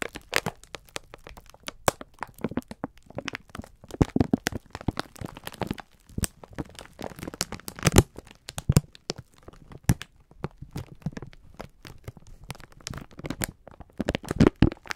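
Fingertips press and rub the crinkly clear plastic film of a full package of sponge scourers. Dense, irregular bursts of sharp crackling and crinkling snap in quick succession, each dying away almost instantly, with a soft, dull body beneath the bright edges. The loudest clusters come around 4, 8 and 14.5 seconds.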